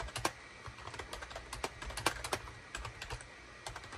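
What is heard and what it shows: Rapid fingertip typing with both hands on a gray SHIPADOO K600 full-size wired USB keyboard with a hollow gray plastic case and cream, gray and orange plastic keycaps, resting on a desk mat. The clip carries a quick run of sharp, bright plastic clicks and clacks with very short decay over a faint low hum, some strokes landing harder than others.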